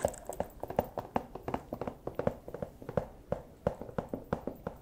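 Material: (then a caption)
Plastic. A small, empty, clear plastic pouch is held up and tapped and crinkled with the plastic claws of a fursuit paw. Quick, irregular, dry taps with a mid-pitched plastic tone and very short ring come one after another, with faint crinkling between them.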